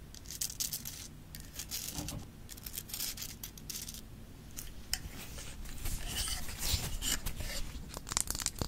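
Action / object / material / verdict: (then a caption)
scrape / rock-salt lamp / rock salt / none. Long nails tap and scratch the rough, solid crystal surface of a Himalayan rock-salt lamp, first held upright and then laid on its side. The clip is a dense, irregular run of quick, dry clicks and gritty scrapes with bright, crackly highs over a faint low rumble. Each tap dies away almost instantly.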